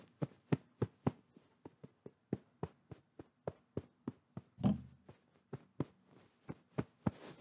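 Fingertips tap and squeeze a medium soft white pillow with a fabric cover, held in front of the microphone. Twenty short, dull, muffled taps with a low, soft thump and almost no ring. Near the middle comes a louder, longer squeeze, and the end fades into soft fabric rustling.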